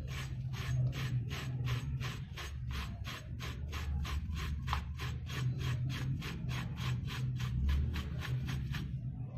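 A metal knife blade repeatedly shaves and scrapes the surface of a hand-sized, dry, pressed block of red brick dust held over a basin of loose brick dust, so powder falls away. It makes a steady run of quick, even, gritty rasping strokes with bright, papery high edges over a constant low rumble.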